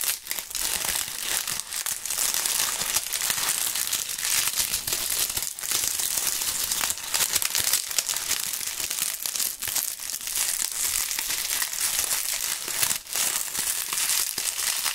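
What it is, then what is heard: Dry maple leaves being crushed. Dry, thin, brittle brown maple leaves are crumpled, crushed and rubbed together between two fingerless-gloved hands. They make a continuous, bright crinkling and crackling crunch with almost no low end. The level stays fairly steady, with brief dips, for the whole 15 seconds.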